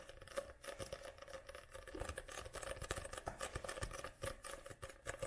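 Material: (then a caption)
Card. Long nails tap and scratch the glossy card front cover of a paperback book held upright. The result is a quiet, dense patter of many quick, dry clicks and scrapes with a faint steady tone running underneath.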